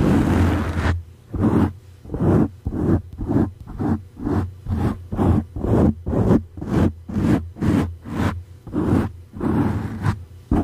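Fingertips and nails of both hands scratch, rub and squeeze a dark grey soft foam windscreen over a condenser microphone. The result is a rhythmic series of about sixteen close, breathy rustling scrapes, roughly two per second, each a soft swish over a steady low rumble.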